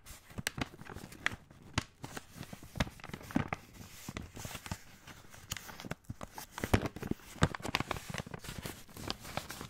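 Fingertips rub and crinkle a full 500 g brown kraft paper pasta bag. The sound is a steady run of soft papery rustling broken by many sharp, dry crinkles and crackles, each dying away almost instantly.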